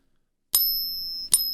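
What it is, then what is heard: Counterfeit silver eagle coin, too dull. A counterfeit silver eagle coin is ping tested twice, giving two sharp metallic pings with high ringing tones that sustain briefly before the second strike. It sounds too dull to be real silver, the same as the previous fake.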